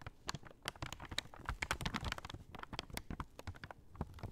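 A large, empty brown kraft paper shopping bag is folded and unfolded in the hands while long nails tap on it. Dense, dry crinkles and rustles mix with quick, sharp taps that stop short with almost no ring. The sound is bright and crackly over a soft low rustle, quiet and steady throughout.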